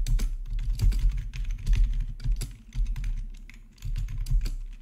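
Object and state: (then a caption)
Plastic membrane keyboard typing. Fingertips type on the black plastic keys of a hollow-bodied, RGB-backlit membrane gaming keyboard. The taps form a steady stream of short, soft clicks with a deep low thump under bright clatter, easing into a brief lull before picking up again.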